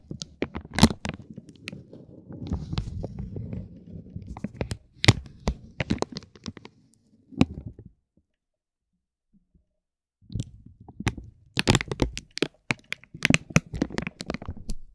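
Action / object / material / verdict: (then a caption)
scrape / vinyl plastic film wrapped around a tape roll / vinyl plastic / none. A metal ball-tipped stick taps and drags along the edge of a soft, clear vinyl plastic bag wrapped around a roll of tape. It makes soft crinkling with sharp, bright cracks over a low rustle. The sound stops for about two seconds near the middle, then resumes.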